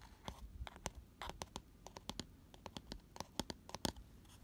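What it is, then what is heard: Scratching inside a cardboard box. Fingernails scratch the flat inner base of an empty, hollow, round cardboard gift box with a white paper lining, held on its side. A quick series of short, dry, bright scratches follows, each stopping almost instantly with no ring, over a faint low rumble.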